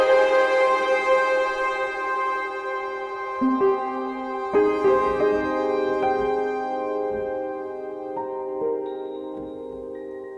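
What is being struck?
Nothing is struck.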